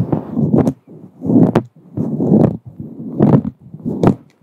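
Long acrylic nails scratch and rub the surface of a fluffy grey-white faux fur microphone windscreen, a soft, hollow synthetic fur cover. The result is repeated bursts of muffled, low rustling, each ending in a quick, bright scratching flick, separated by short silent pauses.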